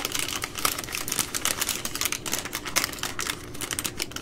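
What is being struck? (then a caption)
Baby wipes multipack in plastic film overwrap. Long nails scratch and tap the plastic film at the edge of a full three-pack of baby wipes in its plastic overwrap. A fast, uneven run of crisp clicks and bright scratchy crinkles continues throughout, with only a little low-end body under the taps.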